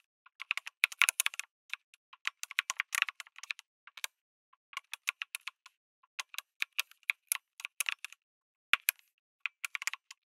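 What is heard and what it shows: Fingertips type on a lit mechanical keyboard with an aluminum case and plastic keycaps, producing 44 quick, bright clicks in irregular bursts with short pauses between. Each keystroke is a dry, high tap that dies away almost instantly, with no low-end thump.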